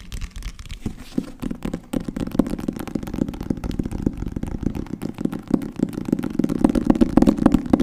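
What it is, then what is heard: Cloth-covered hardcover book, solid. Fingertips and nails tap fast on the front cover and spine of a solid green cloth-covered hardcover book with gold lettering. The taps are short, dull, low-mid knocks in a quick, uneven patter with almost no ring, growing slightly louder toward the end.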